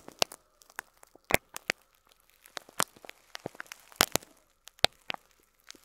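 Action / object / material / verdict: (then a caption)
scrape / clear plastic bag of plastic pearl beads / plastic / none. Fingertips pinch and crinkle a clear plastic bag of loose cream faux plastic pearl beads up close. Sharp, bright crinkles and crackles come in uneven bursts over a faint steady hum, with the loudest snaps near the start, middle and end.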